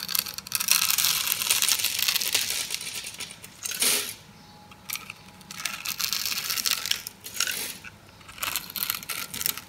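A metal blade cuts and scrapes cubes from a pink, oval, solid dry soap bar with a grid-scored surface, held in the hand. The sound is a bright, crunchy, crackling scrape that comes in long bursts separated by short quieter pauses, with almost no low end.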